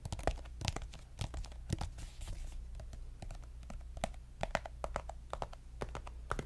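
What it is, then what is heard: Plastic lotion tube. Fingernails tap quickly on a pink soft plastic lotion squeeze tube, making a rapid run of short, dry clicks with a hollow ring around 650 Hz. Each tap dies away almost at once over a steady low hum.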